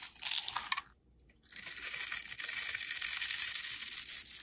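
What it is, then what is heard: Soap bar being scraped with a blade. A metal utility blade scores and scrapes a solid, rectangular black soap bar held in the hand, crumbling bits off. Bright, crisp scratching comes in short strokes, then pauses briefly before settling into steady, continuous scraping with a dry, crumbly texture.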